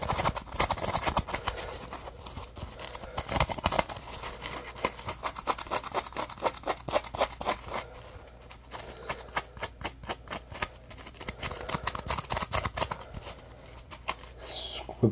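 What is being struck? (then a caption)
Dry polymer foam sponge. A dry, yellow-orange Scrub Daddy polymer foam sponge with a textured face is gripped in both hands and scratched and rubbed with fingertips and short nails. The result is a dense run of rapid, dry, crackly scratches with a bright, brushy texture, rising and falling in bursts throughout.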